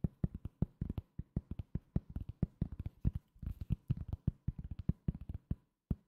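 A solid, round cork coaster held in the hand is tapped with the fingertips in a quick, uneven run of about 35 soft, dull taps. Each tap is a short, muffled thud with almost no ring, its energy low around 160 Hz and nearly none in the highs.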